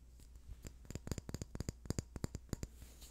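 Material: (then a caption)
Wood. A small, hand-sized rectangular wooden box with ribbed or carved sides, likely hollow, is held close to the mic and tapped and scratched with fingernails. About fifteen quick, dry clicking taps come in an uneven rhythm, each dying away instantly over a faint low hum.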